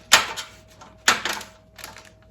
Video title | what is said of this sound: Mon Cheri, so easy, how to make cherry cordials and rose napkin | do you hear that chocolate snap? And that's because the chocolate has been tempered.